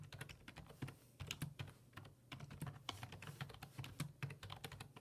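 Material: Plastic.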